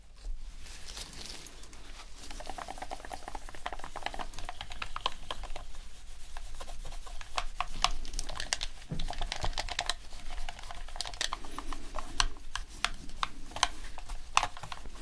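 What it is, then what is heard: Plastic game controller. Gloved fingertips rub a dirty, white, hand-sized PS4 controller with a hollow plastic shell, resting on a black cloth surface, with a soft microfiber cloth to deep clean it. It produces a dense run of quick, dry plastic clicks and ticks over soft cloth rustling, with a faint steady low hum underneath.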